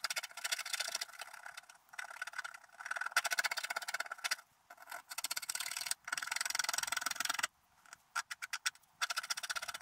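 A wooden stylus scratches away a larger area of the black coating on a flat scratch art sheet lying on a table. The sound is a dry, bright, gritty scraping in rapid bursts of short strokes, broken by brief pauses, with no low end. Toward the end, a few separate short strokes stand out before the steady scratching resumes.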